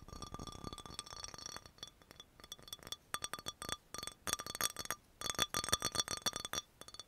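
An amber glass dropper bottle with a paper label and a black dropper cap, hollow with some liquid inside, is tapped quickly with long nails. Bursts of fast, irregular clinking taps come in uneven clusters with short pauses between them. The clicks are bright and glassy, with a clear high ringing tone that dies away almost at once.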